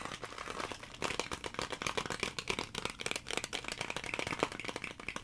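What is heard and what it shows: A clear plastic blister clamshell package, held close, is tapped and scratched with fingernails. Rapid, dense clicks and scrapes give a bright, crinkly plastic sound that runs steadily throughout.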